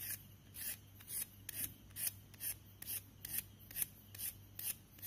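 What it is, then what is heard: Chalk stick being scraped. A thin, solid white classroom chalk stick, held between chalk-dusted fingertips, is scraped and filed along its surface with a pen knife. About twelve quick, dry, bright rasping strokes come in a loose rhythm over a faint steady low hum.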